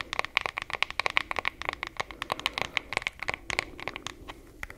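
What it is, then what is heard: Wooden hairbrush tapped with fingernails. Long fingernails tap and scratch the flat wooden back of a wooden hairbrush held in one hand. A rapid, uneven run of sharp, dry clicks with a bright ring near 2 kHz comes through, separated by soft scratchy rustling. Each tap dies away almost instantly.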